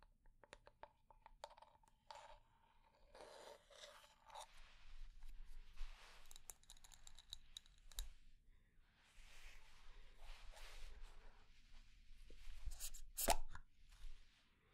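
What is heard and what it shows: A wooden candle lid is tapped slowly and at medium pace, then scratched and handled, giving short hollow knocks with a woody ring around 700 Hz. Brisk clicks and scraping lid sounds follow, ending in one sharper, louder knock near the end.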